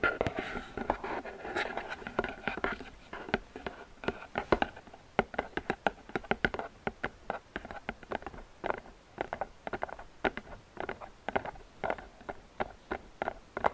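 Long painted fingernails tap and scratch the side corners of a medium hollow gift box made of flower-printed paperboard. Quick, dry clicks and light scratching come in a dense, irregular patter. Each hit dies away almost at once with a papery, hollow tone.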